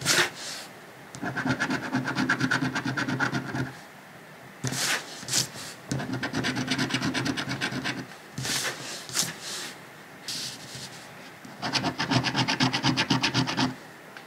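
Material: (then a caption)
Paper. A coin edge scrapes the latex coating off a thin, flat paper lottery scratch-off ticket lying on a dark cloth, with the hand resting on the ticket throughout. Fast, rhythmic rasping strokes come in three sustained bursts, separated by quieter pauses with brief brushing and sweeping sounds.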